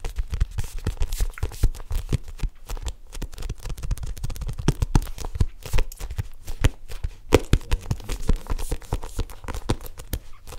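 Long manicured nails and fingertips tap and grip the black faux leather cover of a solid, roughly notebook-sized hardcover planner held upright near the mic. The result is a steady stream of quick, dull, low-heavy taps with soft scratchy grips and crinkling between them, each tap dying away almost instantly.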